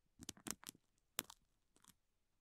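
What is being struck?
Thin clear plastic wrapper.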